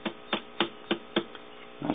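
A glass 6DJ8 vacuum tube in a Hickok 539c tube tester is tapped at each switch position while a shortwave radio listens for noise. Five sharp, bright taps stand out over a steady low hum, followed by a faint tick and a longer, rougher burst at the end. No noise shows up on the taps, and the tube checks out as good.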